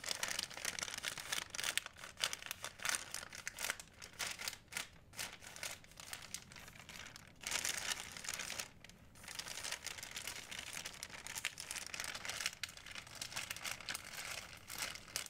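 A thin, empty white plastic Blick shopping bag, folded and creased, is crinkled between fingertips and long nails. The result is a dense, continuous, bright crackling with almost no low end, broken by brief quieter gaps around 2, 5, 7.5 and 9 seconds.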